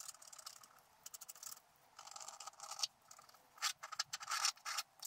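A wooden stylus scratches fine hair lines into the black coating of a scratch art sheet held flat. Short, irregular bursts of dry, bright scratching come and go with quiet gaps between them, with no low end. The strokes stop dead, with no ring.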